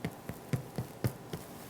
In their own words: Can you hear that hollow sound? That's how you know your soda bread's done.